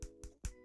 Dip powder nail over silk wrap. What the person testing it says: you're going to be tapping your nails listening for hardness